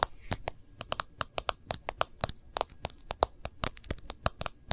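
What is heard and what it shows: Fingernail tips of several fingers tap rapidly on the glass screen and case rim of an iPhone in a case, held horizontally in both hands. About two dozen sharp, dry clicks follow one another quickly, each with a bright, crisp edge and almost no ring.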